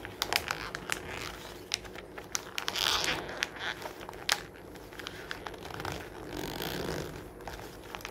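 A fingertip grips and crumples a page near the spine of a thick glossy-paper magazine lying open on a wooden table, its solid stack of pages beneath. Bright, crisp crinkling and crackling fill the clip, broken by many sharp snapping clicks, with denser rustling swells around the third and seventh seconds.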